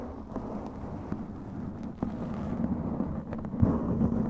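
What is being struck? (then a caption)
Foam microphone windscreen. Long pointed glittery claw nails scratch and tap a black foam windscreen over a microphone head. The result is a dense, low, muffled rustle with soft thuds scattered through it, with almost nothing bright. It swells slightly louder toward the end.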